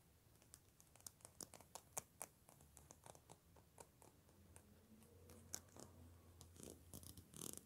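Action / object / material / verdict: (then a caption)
flick / plastic wide-tooth comb / plastic / none. Long pink-painted nails flick and scratch along the long, wide-spaced teeth of a black plastic wide-tooth comb held in the hands. The result is a quiet, irregular series of sharp, dry, bright clicks with short scratchy rasps between them, over a faint low hum.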